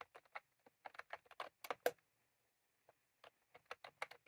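Fingertips of both hands type continuously on a full-size plastic computer keyboard with round cream typewriter-style keycaps, resting on a desk. About fifteen short, dry, bright clicks come in two quick bursts separated by a brief quiet pause, each key press dying away almost instantly.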